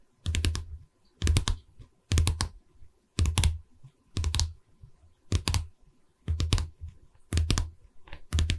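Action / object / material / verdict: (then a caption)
tap / pine canvas stretcher frame / pine wood / none. Long red nails of one hand tap rapid clusters on the top edge of a pine canvas stretcher frame, in nine short bursts about once a second. Each burst carries a low, hollow wooden knock under bright, crisp nail clicks that die away almost at once.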